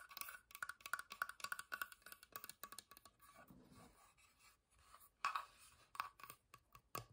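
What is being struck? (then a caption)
Wooden box. A wooden box is tapped in quick, dry, woody knocks with a short bright ring around 1.4 kHz and almost no low end. Midway the tapping gives way to a softer scratching rustle, then a few louder, sharper taps return.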